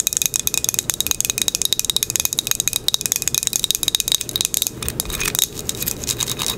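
A small, solid square ceramic coaster with a green crackle-glaze top is held in the hand and tapped and scratched with long acrylic nails. A fast run of sharp, bright clicks with almost no ring blends into a denser scratching rasp toward the end, with a faint tone near 3.8 kHz and very little low end.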